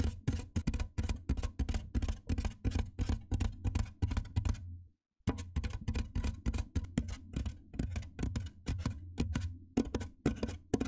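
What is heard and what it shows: Fingertips and nails tap and scratch along the top edge of a large, white, hollow styrofoam box. The result is a fast, dense run of dull, hollow-sounding taps with a strong low boom and faint bright scratchy edges. There is a brief silence just before the halfway point, then the tapping resumes.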